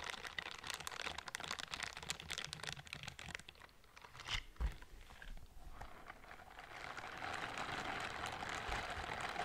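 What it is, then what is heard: Silicone scrubber gloves. A pair of pink silicone dish-scrubbing gloves with bristle palms, worn on both hands, are rubbed against each other beside a microphone without touching it. Dense, crinkly, scratchy bristle rubbing fills the first few seconds, then eases into a quieter stretch broken by a couple of soft thumps. It builds again into a steady, bright, hissing scrub that runs to the end.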